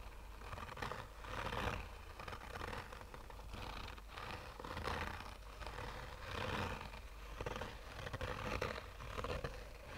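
Short fingernails slowly scratch a black, oval, textured fabric sunglasses case with a hollow, rigid hard shell. Rasping scrapes swell and fade in repeated strokes over a steady low rumble, each stroke a soft, dry scratching that brightens in the middle and upper range.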